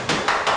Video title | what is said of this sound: Using a Body File - Auto Body Repair | find your dolly if you can't see underneath it by tapping on it. And you can hear it hit solid.